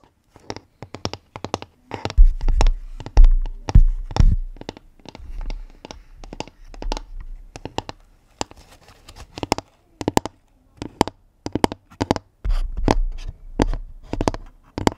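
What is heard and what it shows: Long nails tap and scratch across the grain of a round, flat pine-wood lid on a medium-sized pink woven basket with a hollow space beneath. The result is a quick, irregular run of sharp, clicky taps with a deep, hollow thump, and stretches of rough scratching between the taps.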